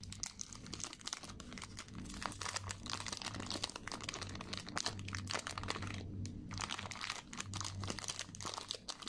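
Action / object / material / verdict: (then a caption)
scrape / chocolate wafer bar in foil wrapper / foil / none. Fingers with long nails unfold and crinkle the opened silver foil around a solid four-finger milk chocolate KitKat bar, then press and snap the chocolate wafer fingers apart. Dense, bright crinkling and crunching crackles run continuously over a steady low hum, with a brief quieter gap near the six-second mark.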